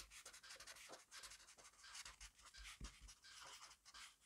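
A black pen scribbles fast across a grid-paper notebook page resting on a desk, its tip scratching over the paper. The sound is a quiet, rapid run of short, bright, scratchy strokes with no ring between them, rising and falling in uneven bursts.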